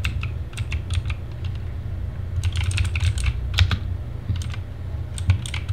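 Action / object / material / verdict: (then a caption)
tap / plastic mechanical keyboard / plastic / none. Fingertips type on a TGT Sherman Mini, a compact mechanical keyboard with backlit plastic keycaps, in a dim setting. Bursts of short, bright, dry clicks come in quick runs with brief pauses, over a steady low hum around 90 Hz.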